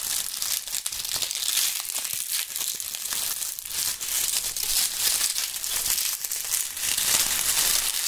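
Clusters of dry brown and purple-tinted autumn leaves are crushed and crumpled by the fingertips of gloved hands close to the microphones. A steady, dense crackling and crunching fills the clip, bright and papery with almost no low end, swelling and easing slightly without clear breaks.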